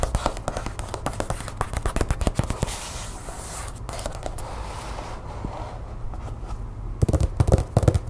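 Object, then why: Glossy paper magazine. Long nails tap and scratch the glossy cover of a closed, solid Real Simple paper magazine, first held up and then laid flat. A quick run of dull, low-heavy taps gives way to a softer, steady scratching in the middle, then sharper taps return at the end.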